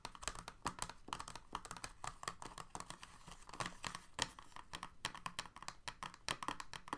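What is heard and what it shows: Fingertips and nails of both hands rapidly tap and scratch the hollow ridges of an empty, clear, thin moulded plastic blister tray sitting in a white box. A fast, uneven stream of crisp, hollow plastic clicks with a bright edge, mixed with light scratchy rustles, continues for about seven seconds. Each click dies away almost instantly.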